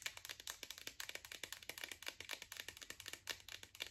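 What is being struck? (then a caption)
Plastic pill bottle tapped with fingernails. Long acrylic nails rapidly tap the yellow cap and green plastic body of a Spring Valley iron pill bottle. The result is a quick, steady stream of sharp, bright, clicky taps with almost no low end, each dying away almost instantly.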